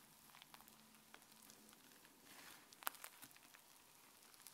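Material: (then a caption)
Slime. Fingertips with dark-painted nails push and fold fluffy white slime lying flat on a counter, pressing air out of it. Quiet, bright wet crackles and squishes patter throughout, with one sharp, louder pop near the middle.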